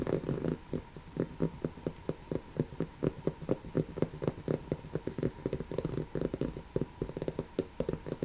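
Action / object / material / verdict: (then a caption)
scrape / woven fabric cushion / woven fabric / none. Long natural fingernails of one hand scratch a brown, textured, soft stuffed woven-fabric cushion. A quiet, rapid series of short, dry, muffled scratching strokes with a fibrous crackle repeats steadily, each stroke dying away almost instantly.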